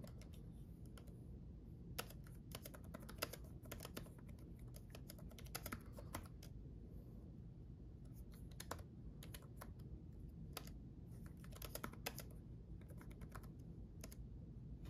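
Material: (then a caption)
Plastic. Fingertips of both hands type on a black laptop keyboard with red backlit plastic keys. Quick, soft, bright clicks come in irregular bursts and pauses over a steady low background hum. Each tap dies away almost instantly.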